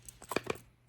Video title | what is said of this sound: Bolte Light Gemini Unboxing & First Look: A Serious Busse Gemini Clone? | does not rattle at all. Maybe a little bit if I really shake it, but it's not bad